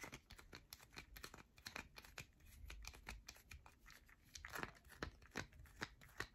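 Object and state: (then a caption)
Bar of soap scratched with fingernails. A solid yellow bar of soap held in a palm is scratched across its surface by long nails, shedding shavings. Quick, dense bursts of dry scraping and crinkly crackling come with soft taps, in a close, quiet setting.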